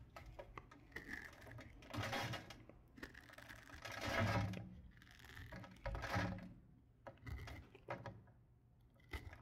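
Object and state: Bar of soap being carved.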